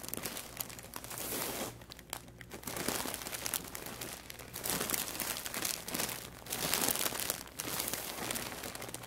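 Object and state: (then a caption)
Plastic mailer bag being crinkled. Fingertips and palms of both hands press and rub the surface of a large white plastic poly mailer bag, full and stuffed with packaged items, lying on a wooden table. Dense, bright crinkling comes in swelling bursts separated by brief quieter lulls, over a faint steady low hum.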